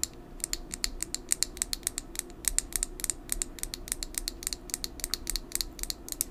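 A full, small red lip gloss tube with a clear plastic body and metallic cap is held in a hand and tapped with long nails. A rapid, uneven run of sharp, bright clicks sounds over a low, steady background hiss, with each tap dying away almost instantly.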